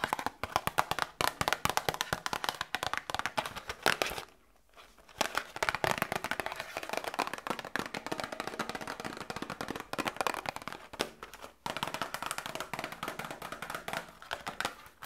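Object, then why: Small cardboard box. A small cardboard medicine box is tapped rapidly with long nails while held both near the microphone and up toward the camera. The result is a dense stream of crisp, dry clicks and taps with almost no ring and little low end, briefly pausing around four and a half seconds and again near eleven and a half seconds.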